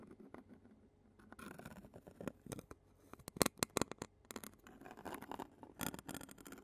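A clear plastic spoon taps and scratches the black metal mesh grille of a handheld Zoom recorder held in a hand. Soft, close scratching and rustling are broken by a run of sharp, bright clicks that peak in the middle before settling back into quieter scraping.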